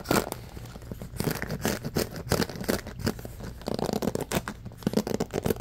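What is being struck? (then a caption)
Bamboo paddle hairbrush with rubber cushion and pins. A bamboo paddle hairbrush with a rubber cushion and pins is held in the hands while fingers scratch quickly across the pins and rub its slatted bamboo back. The result is a fast, aggressive run of short, dry scratching and rasping bursts with bright crackle over a steady low rumble.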